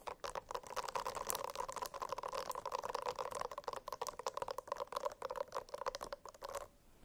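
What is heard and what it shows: Fingernails scratch quickly across a silicone-covered notebook, making a dense run of dry, crackling scrapes with a steady ringing tone near 500 Hz and 1 kHz and bright, airy top edges. The scratching continues with little pause and stops abruptly just before the end, leaving near silence.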